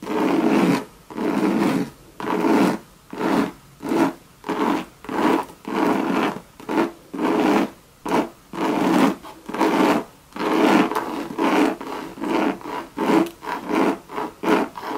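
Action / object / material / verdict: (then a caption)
scrape / coated canvas handbag with leather trim / coated canvas / none. Long, sharp red nails scratch a hollow Louis Vuitton monogram bucket bag made of coated canvas with leather trim. About 22 raspy, rubbing strokes come in an uneven rhythm, with brief silences between them that grow shorter toward the end. The scratches have a dry, midrange body and little deep low end.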